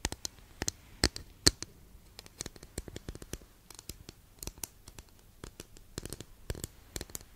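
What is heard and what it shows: Long nails tap and scratch on a long, flat, thin, solid wooden incense holder, making quick, dry clicks and light scrapes at an irregular pace. The sharp, bright ticks die away almost instantly, and a few louder taps stand out over the quiet scratching.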